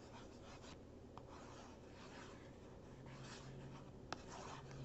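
A capped marker traces and scratches across the surface of a small printed cardboard box that lies flat, closed and hollow. Soft, steady rasping strokes come through quietly over a low background hum, broken by brief sharp ticks.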